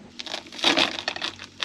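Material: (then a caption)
Baked dough. Freshly air-fried food is pressed and broken apart, giving a series of bright, crisp crunching crackles that swell loudest in the middle. The food is nicely crispy with a crunchy crust, showing it is cooked through.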